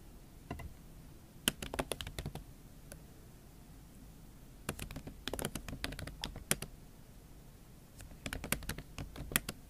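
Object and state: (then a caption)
Laptop keyboard with silicone cover. Fingertips and long acrylic nails type on a MacBook Pro keyboard covered with a pink silicone skin. Sharp, bright clicks and taps come in three quick bursts separated by quiet pauses, each keystroke dying away almost instantly.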